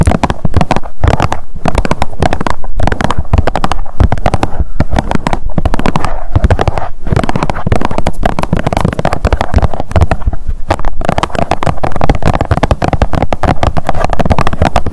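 Long nails tap fast on a blue plastic sunscreen tube lying flat. The result is a dense, continuous stream of quick, dull clicks with a low, boomy body and almost no bright content, staying steady at a loud level throughout.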